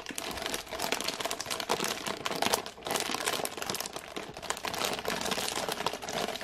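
A full IKEA ginger thins package, wrapped in printed plastic film with a clear window showing the biscuits inside, is held in both hands and scratched and tapped with long painted nails. Dense, continuous crinkling and rustling of the plastic is heard, with many quick, bright, overlapping clicks and crackles throughout.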